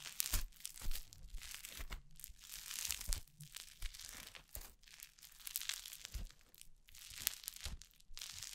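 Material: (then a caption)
Foam slime. A handful of soft, crunchy orange foam slime is held close to the microphone and kneaded and squeezed with fingers and long painted nails. The result is a steady run of crackly, crinkling crunches and tearing pops. They have bright highs and dull low thumps, each snap cut off almost instantly.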